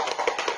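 A child shakes a cardboard Zaitsev learning cube with filler, marked with the letter T, producing about five quick, muffled rattles centred around 480 Hz with little high-end sparkle. The cube sounds dull, marking T as a voiceless sound, in contrast to the ringing cube for the letter D.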